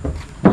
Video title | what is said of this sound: TIPS INSPEKSI MOBIL BEKAS | karena masih minim dempul atau hampir semuanya ori ya belum ada dempul suaranya enak banget